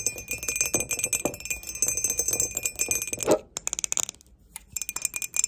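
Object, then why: Glazed ceramic mug. Long nails tap quickly across the sides and base of an empty grey glazed ceramic mug with a barcode sticker on the bottom. The taps make bright, clicky ticks with a faint steady high ring underneath. They briefly go quiet just before the four-second mark, then resume in a sparser run.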